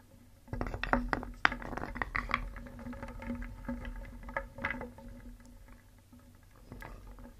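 A wooden spoon stirs through a wooden bowl full of painted solid wooden cones and balls, then lifts out a ball. The pieces clack against each other in short, dry knocks, starting after a brief quiet moment. The clacking is busiest early on, thins into softer shuffling, and ends with a small final burst.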